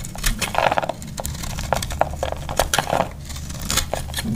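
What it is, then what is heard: Dry soap bar. A metal utility knife blade shaves and cuts into a solid, hand-sized, oval bar of dry purple soap held in the palm, scraping off crumbly flakes. Many short, dry scraping and crunching strokes follow one another with almost no ring, over a low steady hum.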